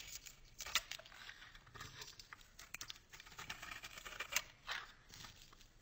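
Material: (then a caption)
Soap. A solid blue bar of soap held in the hand has its surface shaved and scraped off in layers with a metal box-cutter blade, exposing white soap underneath. Quiet, bright, crisp scraping and crackling strokes come in a quick irregular series of short bursts, with little low-end body. Each stroke dies away almost at once.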